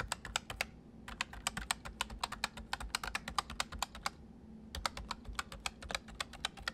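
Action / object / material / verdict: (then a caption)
tap / plastic mechanical keyboard / plastic / none. Fingertips of both hands type fast on a white full-size MSI plastic mechanical keyboard with hollow keys, one arm briefly crossing over. Rapid, sharp, bright clicks come in three quick bursts separated by two short pauses, each keystroke dying away almost instantly over a low background hum.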